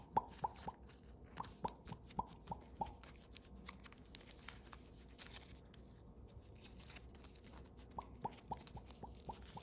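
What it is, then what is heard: Foil origami paper being folded. Thin holographic blue foil origami paper, a partly folded crane, is folded and creased by fingertips and thumbnails. Quiet, irregular crinkles and soft rustling are punctuated by short, sharp ticking snaps with a bright edge, clustered at the start and end, with a calmer stretch of crinkling in the middle.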